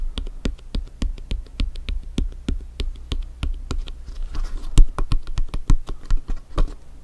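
Fingertips and nails tap and scratch the top of a blue France soccer ball, a hollow, inflated ball with synthetic-leather panels, while it is rocked. The result is a run of short, separate taps with a soft, hollow low thump, and a brief scratchy hiss near the middle.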